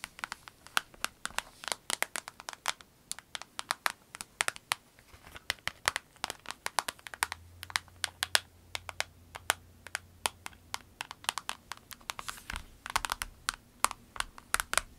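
Long nails scratch and tap the flat face of a small, clear orange vinyl pencil case with pens inside, producing a rapid, irregular stream of many sharp, dry, bright clicks and ticks. Soft crinkling of the vinyl runs between the taps, with a faint low hum in the background.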